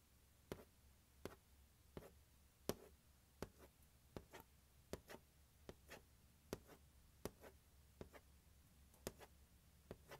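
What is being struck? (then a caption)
Hard plastic carrying case. Fingertips and nails tap and scratch the lid of a large, hollow, closed turquoise hard plastic glockenspiel carrying case lying on carpet. There are 15 quiet, sharp clicky taps at an uneven pace, each with a brief hollow knock around 420 Hz that dies away almost at once, with soft scratching between them.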